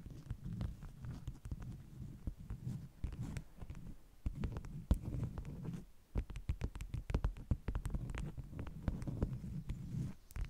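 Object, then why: Stack of beeswax-coated cotton wraps. Long nails scratch and tap the top and front edges of a stack of flat beeswax-coated cotton wraps. The result is a dense, muffled run of soft, quick, low thuds and rustling scrapes with almost no brightness. Sharper taps pop out here and there over the steady scratching.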